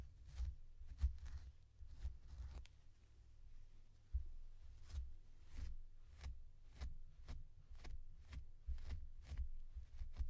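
A blue plastic comb is drawn repeatedly through a soft, stuffed purple long-pile faux fur plush toy while the other hand holds it. The result is a series of quiet, brief, airy brushing scratches, each a soft bright swish over a low, muffled rumble.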